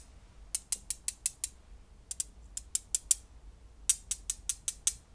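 Small solid blue glass gems, several held between the fingertips of both hands above a pile of gems on bubble wrap, are clicked and rubbed together. The result is 18 crisp, bright clicks that die away almost instantly, in three groups of six, over a faint low background.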